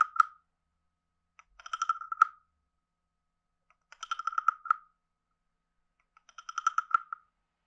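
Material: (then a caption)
Wood. A wooden stick is scraped along the back ridges and tapped on the head of a palm-sized, hollow, carved reddish-brown wooden frog guiro held in one hand. The clip has four short bursts of quick, dry, hollow clicks, each ringing with a woody tone around 1.3 kHz and some brighter overtones. Each click dies away almost instantly, with silence between the bursts.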